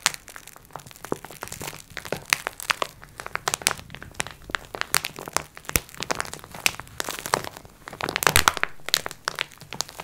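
Long red acrylic nails scratch and tap the crinkly clear plastic film of a flat, rectangular multipack of sponge cloths lying on a wooden table. The result is a dense run of bright, crisp crinkles and sharp clicking taps, with short scratchy bursts that swell louder near the end.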